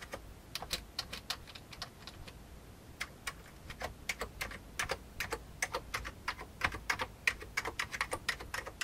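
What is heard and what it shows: Fingertips press keys on the right side and center of an old beige plastic computer keyboard. A steady, uneven run of many short, bright clicks and clacks, each dying away almost at once over a faint hiss.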